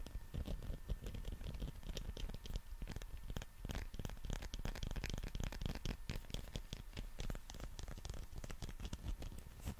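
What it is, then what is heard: Rubber toy scratched with fingers. A green textured rubber dinosaur figure is held above and around the mic while fingers scratch and rub its surface. The result is a dense, continuous stream of soft, low, rumbling scratches and quick crackly ticks, with faint bright texture on top.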